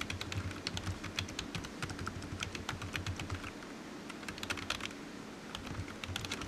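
Fingertips type steadily on a low-profile black plastic computer keyboard resting on a desk mat, its hollow keys tapping out a rapid stream of bright, dry clicks. Each tap is short and decays almost instantly, while a soft low thump sits under the clatter.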